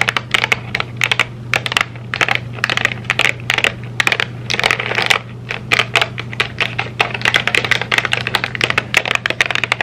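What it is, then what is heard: Cardboard candy box. Long nails tap rapidly on the surface of a flat rectangular M&M's candy box made of thin printed cardboard, held in both hands. The taps are a fast stream of sharp, dry, bright clicks, like typing, that die away almost instantly over a faint steady low hum.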